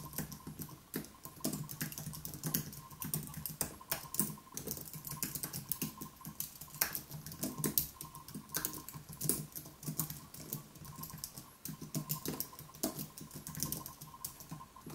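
Both hands type continuously with their fingertips on a white plastic-key wireless keyboard with an aluminium base, resting on a wooden desk. A steady stream of quick, light, clicky keystrokes patters on with bright edges and a soft low thump beneath, over a faint constant hum.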